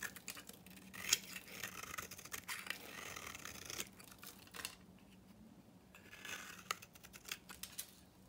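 A solid oval pink bar of dry soap, held in the hand, is shaved with a utility knife into dry flakes. The cuts make crisp, bright scraping and crackling strokes with a sharp snap near the start and a quieter pause midway. There is almost no low end and no ring after each stroke.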